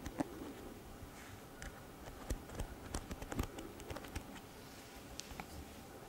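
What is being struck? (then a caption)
Plastic hairbrush bristles. Long fingernails flick and scratch the bristles of a pink plastic hairbrush, producing quiet, rapid ticking. Short, dry clicks with no ring stand out against a soft, steady low hiss.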